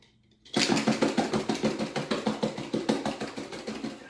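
Hard-boiled eggs in their shells are shaken inside a container about three quarters full of water, producing a rapid, fairly regular series of sloshing knocks and clatters after a brief quiet start. The sound changes as the shells crack and come loose from the eggs.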